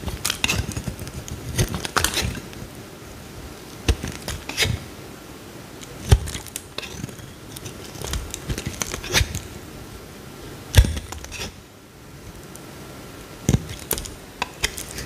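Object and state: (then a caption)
Bar soap being carved. A small, solid green bar of soap held in the hand is carved with a metal utility knife blade, and chunks break off. Irregular crisp cracks and scraping cuts sound out, each with a bright snap and a short dull low thud, over a quiet hiss between strokes.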